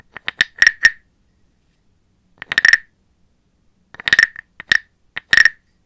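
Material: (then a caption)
Wood. A small hollow carved brown wooden frog guiro with a ridged back is held in a hand with long black nails, while a wooden stick is rubbed along its ridges and tapped on it. Short croaking rasps and clicks come in three clusters, each with a steady hollow tone near 1.8 kHz and bright upper overtones, with very little ring and quiet gaps between them.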